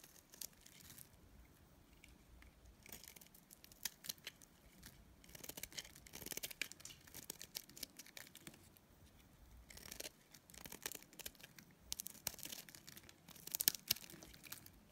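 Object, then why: Soap bar shaved with a blade. A utility knife blade shaves thin curls off a solid, dried lilac soap bar held in the hand. The quiet clip is full of bright, crisp scraping and crackling strokes that come in uneven bursts, some sharper than others.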